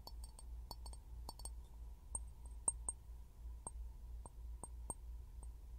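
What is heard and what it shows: An empty, palm-sized clear glass jar with a threaded rim is held upside down over a pin mic and tapped and knocked with fingertips and short nails. About 14 short, bright clinks with a faint high ring come at an uneven pace over a steady low hum.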